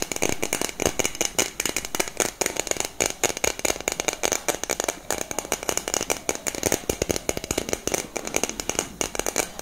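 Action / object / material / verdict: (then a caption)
tap / metal aerosol spray can / metal / none. A hollow, black cylindrical metal aerosol deodorant can with a grey cap is held in both hands and tapped and scratched with long nails. The result is a continuous run of rapid, dry, bright clicks and scraping rattles with very little low end. Each tap dies away almost instantly.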